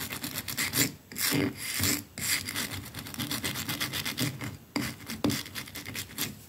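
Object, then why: Bristle brush on a painted plaster wall. A wooden hairbrush's dense dark bristles are pressed and brushed along a solid white painted plaster wall that is rough and pitted. The result is a run of dry, bright, raspy scratching strokes at an uneven pace, with a few louder swipes standing out.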